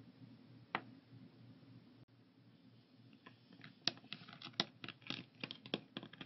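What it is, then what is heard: Plastic pill organizer. A translucent blue plastic 14-compartment weekly pill organizer with pills inside rests on a wooden table while fingertips tap its lids. Short, bright plastic clicks and taps sound over a faint low hum, sparse at first and then coming quickly in an irregular patter.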